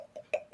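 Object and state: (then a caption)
Cup with a ball inside, rattling. A cup with a ball inside is shaken as part of a magic trick, and the ball rattles inside it. Three short, mid-pitched ticking clicks are heard around 600 Hz with a brighter overtone, the middle one loudest. Each dies away almost instantly.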